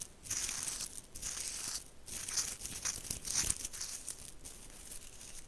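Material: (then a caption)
Straw. Long nails scratch along the woven surface and braided strap of a round tan woven straw bag held close to the mic. The result is a dry, bright, crinkly rasp that comes in uneven bursts with short pauses between strokes.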